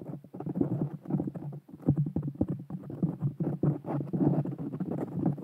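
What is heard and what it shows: Long painted fingernails on both hands scratch and rub a soft, porous black foam windscreen fitted over a small Blue Yeti Nano USB microphone. The result is a dense, muffled stream of low, thumping scrapes and rustles in rapid, irregular bursts, with almost no bright content.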